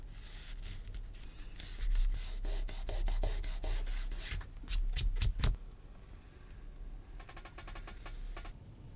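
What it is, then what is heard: Vegetable-tanned leather sheet scratched with an awl. A metal awl tip is scratched along a line on a flat, thin panel of natural vegetable-tanned leather resting on a cutting mat. It makes a series of dry, rasping scrapes with bright, hissy strokes, loudest in a few sharp passes midway. The scraping then trails off into softer, quicker light scratches.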